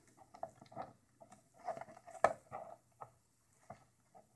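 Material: Thermoplastic.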